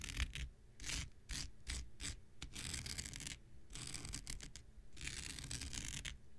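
An X-Acto knife blade scratches across a thin, blue, hand-sized non-woven synthetic fiber scouring pad held in the hand. The result is repeated bursts of bright, dry rasping, some quick and short and others longer drags, over a low, soft rumble.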